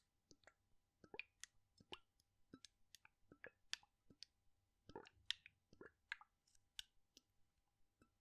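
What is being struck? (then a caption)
Plastic bottle with liquid. A clear plastic cosmetic bottle with a white cap, partly filled with orange liquid, is gripped in the fingertips of one hand and tilted and shaken so the liquid sloshes inside. It makes a quiet run of short, bright clicks and wet plops with fast decays, and the hits are spaced unevenly across the clip.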